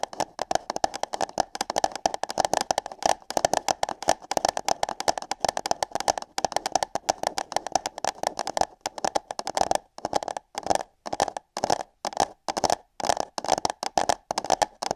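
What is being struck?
Paper cup.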